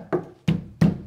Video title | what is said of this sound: Holztreppe Richten! So rettest du deine Treppe und beseitigst das nervige KNARZEN ! | vom Klang her hörst du der hat auf jeden Fall Druck